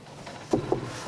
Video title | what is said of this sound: Rope Demijohns and Doors Upcycled for Profit - Money For Nothing | They're made of solid chunky bits of timber.